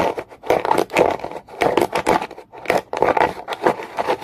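A solid, dark, rough rock is scraped aggressively with a comb in fast, repeated strokes. Each stroke gives a dry, raspy scratch centred in the midrange, with bright grainy edges and no ring.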